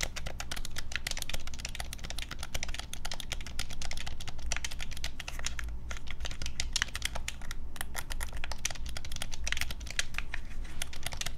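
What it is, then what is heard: Plastic game controller. Fingertips and thumbs rapidly tap and press the buttons of a black plastic Nintendo Switch Pro controller, hand-sized and hollow, held in both hands over a wooden desk. A dense, continuous stream of quick, sharp plastic clicks rattles on with no pauses, bright and dry over a steady low hum.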